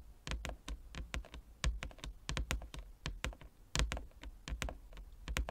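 Fingertips and nails of both hands tap across a large, flat, inlaid wooden chess board. The result is a quick, irregular stream of short, dull knocks, each with a low thump and a bright, crisp click that dies away quickly.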